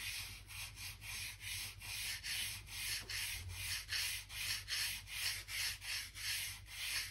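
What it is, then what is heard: Wooden floorboards brushed along the seams. A narrow bristle gap brush rubs back and forth in the seams between solid oak floor planks, brushing out dirt and dust. Quick strokes follow one another in a loose, steady rhythm, each a dry, scratchy hiss that is mostly high and bright with little low end.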